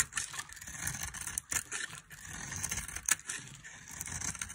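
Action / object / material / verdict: scrape / dry soap bar / soap / none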